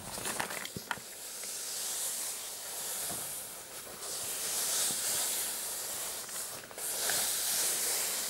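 Short blue-painted fingernails and fingertips scratch and rub the dark grey floral-patterned fabric of a medium, soft, padded, hollow clutch purse with a metal kiss-lock frame lying flat. A steady, bright, hissy scraping swells and fades in long strokes, with two soft, sharp ticks near the start.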